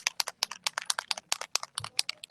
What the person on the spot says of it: it's got a little ball in it yeah you can hear it